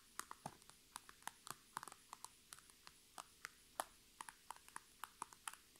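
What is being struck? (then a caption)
Thin PVC cosmetic bag filled with makeup. Long red nails tap and scratch the thin plastic sides and top of an iridescent, holographic transparent PVC cosmetic bag full of makeup items. About 25 sharp, light taps ring out one after another, each a crisp, bright plastic click that dies away almost instantly, over a soft, quiet background.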